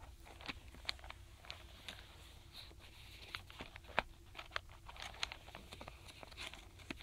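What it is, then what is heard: Wooden alphabet stamp blocks tapped with fingernails. Fingertips and long nails tap and drum across the tops of small solid wooden alphabet stamp blocks packed in a tray inside a paperboard box, with one block missing. The result is a quiet, irregular patter of short, dry, bright clicks and light knocks that die away at once, with a faint low hum underneath.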